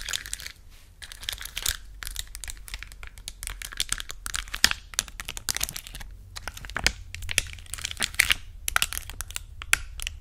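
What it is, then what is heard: Plastic sticker sheet. A thin, flat, clear plastic sheet of colorful acrylic gem stickers, held by hand, is scratched and tapped with long acrylic nails. The sheet flexes and crinkles, giving dense, bright crackling and rapid sharp clicks that stop instantly, over a faint steady low hum.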